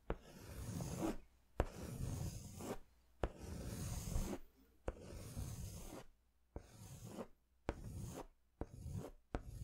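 A yellow-orange crayon is stroked across a large white paper sketch pad held upright in short hatching strokes. Eight separate bursts of dry, low scratching each start with a sharp tap as the crayon meets the paper, with short quiet pauses between them.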